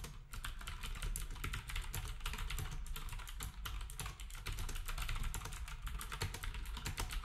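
Fingertips type rapidly and steadily on a black compact plastic typewriter-style keyboard with round plastic keycaps. The result is a dense, continuous stream of short, crisp clicks with a low, thumpy body beneath them, and no pauses longer than a moment.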